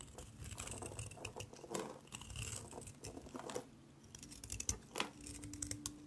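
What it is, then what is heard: Dry soap bar. A yellow utility knife blade is scraped repeatedly across the surface of a solid, rectangular, palm-sized gray bar of dry soap held in one hand, shaving off flaky curls. Dry, bright scratching and crinkly scraping strokes come in quick succession, with a few sharper clicks standing out between them.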